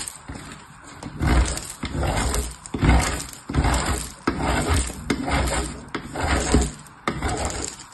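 A purple bar of soap, held in the fingertips, is rubbed and grated across the perforated face of a hollow blue-green metal box grater held on its side. The result is a series of uneven rasping, scraping strokes with a low, hollow body and gritty texture. Each stroke swells and fades in a loose rhythm of a little over one per second.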